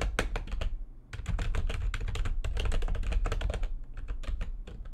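Fast typing with long nails and fingertips of both hands on a full-size plastic computer keyboard with white backlit keys, resting on a desk. It makes a rapid stream of short, clicky key taps with brief bright ticks over a low, dull thump, with a short pause near the one-second mark before the typing resumes steadily.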